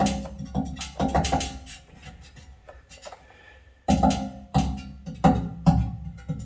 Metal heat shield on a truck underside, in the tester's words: sounds pretty solid. I don't hear anything loose or rattling.